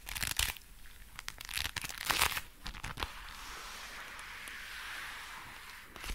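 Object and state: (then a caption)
Leather gloves rubbed together. Dark brown leather gloves worn on both hands are rubbed together and the fingers flexed, making the leather creak. Bright, crinkly creaks and rustles come in sharp bursts for the first three seconds, then settle into a softer, steady, high rubbing hiss.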